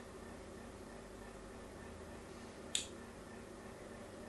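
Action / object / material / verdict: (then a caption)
scrape / bar of soap scraped by a blade / soap / none. A blade scratches along the edge of a solid pink soap bar with a grid pattern cut into it. A single short, bright scratch sounds about two-thirds of the way through and dies away quickly. The rest of the clip is steady, quiet background hiss.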